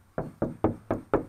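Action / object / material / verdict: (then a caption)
knock / car body sheet metal panel / sheet metal / undamped. Five knuckle knocks on the bare rear deck sheet metal of a 2018 Challenger, tested before sound deadener is installed as a baseline for comparison. Each knock is short and hollow with a midrange tone around 420 Hz and a quick, slightly ringing decay, showing the undamped panel.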